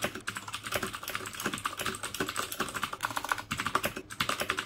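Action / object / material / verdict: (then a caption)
tap / plastic mechanical keyboard with clicky switches / plastic / none. Fingertips type steadily on the keycaps of a black plastic mechanical keyboard fitted with clicky Cherry MX Blue switches. The result is a rapid, continuous stream of sharp, bright clicks, each dying away almost instantly, with a tone centered around 1.4 kHz and very little low end.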